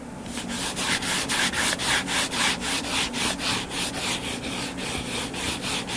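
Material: Cardboard.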